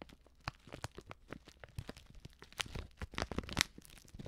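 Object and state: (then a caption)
Plastic foil soup sachet. A small, flat Betty Bossi Fladli instant soup sachet made of plastic foil and filled with dry contents is crinkled and scratched by long manicured nails and fingertips. The result is a dense run of sharp, bright crackles and rustles with very little ring, layered over a soft low rumble.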